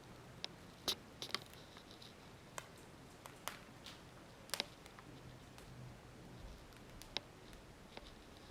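Freshly baked homemade biga bread, straight out of the oven, crackles as its crust cools. Sharp, bright clicks and pops scatter irregularly over a quiet background, showing the crust is crisp and well baked.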